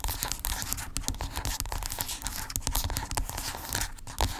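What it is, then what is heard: Plastic lotion tube. Long pink acrylic nails scratch and tap along a small, white, hollow, squeezable plastic lotion tube lying on a fluffy blanket. A rapid, steady stream of dry, crisp scratches and sharp little clicks is heard, each one dying away almost instantly, with a low hollow thump beneath the bright scraping texture.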